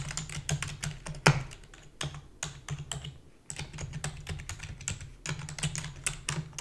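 Rapid typing with long fingernails and fingertips on a full-size black plastic keyboard with a hollow body. Quick, irregular clicks and clacks combine sharp, bright ticks with a low, hollow thump, each dying away almost at once. One louder clack stands out early on, and the typing briefly pauses midway before resuming at the same fast pace.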